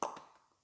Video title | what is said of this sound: Gearwrench micro-driver set Vessel,Sunex tool haul | how hollow that was when I knocked that on there